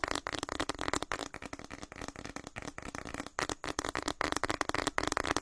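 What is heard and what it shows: A hand-sized printed plastic snack packet, orange and white with a flower pattern and partly filled, is crinkled, squeezed and tapped with fingertips close to the microphone. It makes a fast, dense stream of sharp crackles and crinkles with quick taps, each dying away almost instantly.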